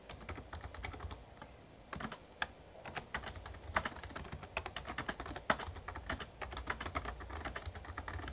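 Fingertips type on the keys of a Razer Ornata Chroma, a full-size backlit plastic mecha-membrane gaming keyboard. Quick, irregular soft clicks and taps run throughout, with a few sharper keystrokes standing out. There are brief pauses near 1.5 and 6.3 seconds over a steady low hum.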